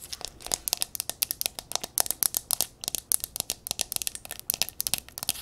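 A silver mercury-glass candle jar filled with yellow candle wax is held tilted and tapped and scratched on the glass with long nails. A rapid run of many short, crisp, bright clicks and scratchy rasps is heard, with almost no low end and no ring.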